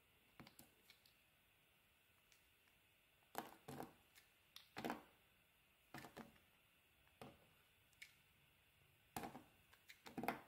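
A solid, translucent pink glycerin bar soap is held in the hand and sliced into thin sheets with a metal blade. Around twenty short, crisp cutting and scraping sounds come at an irregular pace, some in quick clusters. Each is a soft, bright rasp that dies out almost at once against a quiet background.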